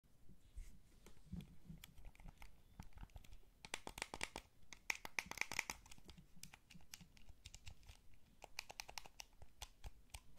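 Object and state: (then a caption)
Plastic game controller buttons being pressed. A small, hollow, blue wired plastic PlayStation-style gamepad is held in both hands while fingertips and thumbs press and tap its buttons and sticks. The result is a quiet run of quick, dry, bright plastic clicks and taps with no ring, packed densest in the middle over a soft low rumble.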